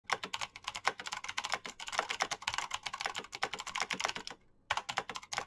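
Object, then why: Plastic mechanical keyboard. Fingertips with painted nails type fast on the plastic keycaps of a black, backlit Razer BlackWidow mechanical keyboard with green clicky switches. The result is a rapid, dense stream of sharp, bright, dry clicks that stop almost instantly, with a brief pause near the end before the typing resumes.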